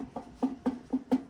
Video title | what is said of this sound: How to check a bow that has been strung up for a long period of time | if you hear any difference between the two limbs, you definitely want to check out why, whether it's that not being tight or there might be a crack